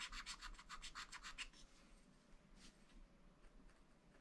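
A wooden stylus scratches lines into the black coated sheet of a scratch-art paper pad, making nine quick, bright, raspy strokes in the first second and a half. The scratching then fades to a faint, softer rasp with one more brief stroke, over a low background hum.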